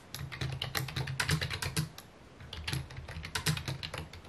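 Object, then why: Plastic computer keyboard. Fingertips type rapidly on a full-size white/mint plastic computer keyboard with a hollow housing, resting on a wooden desk. Quick, bright key clicks ride over a hollow low thump, with a brief lull near the middle before the typing picks up again.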